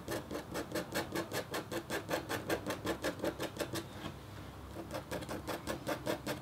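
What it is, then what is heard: Copper scratch art board being scratched. The metal tip of a red stylus scratches a thin, solid, flat black-coated copper-foil scratch-art board in quick, rhythmic rasping strokes. There are 28 short, dry scrapes with a brief pause near the end. Each scrape is papery and bright, with a slight mid-range tone.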